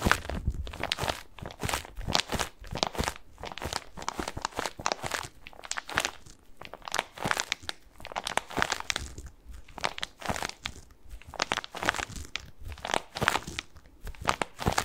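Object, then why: Padded bath pillow with plastic mesh cover. A medium-sized white bath tub pillow, soft and padded and covered in textured plastic mesh, is held in both hands and scratched with fingertips close to the microphone. Dense, rapid crinkly scratching and rustling fills the clip in uneven bursts, bright and papery with a little low thump from handling.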